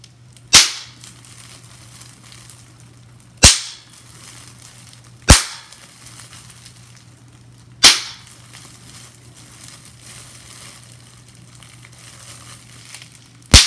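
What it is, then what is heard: Plastic bubble wrap being popped. Bunched clear plastic bubble wrap is pinched between fingers, and five bubbles pop one at a time with sharp, bright snaps that die away quickly. The pops come at uneven gaps over a quiet background with a steady low hum.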